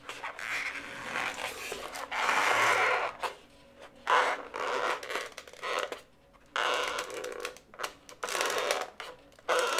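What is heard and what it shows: Fingers with long nails rub and twist a single inflated blue latex modelling balloon, hollow and air-filled. Bursts of squeaky, creaking rubber friction, centered in the mid and upper frequencies, come and go between short quiet pauses.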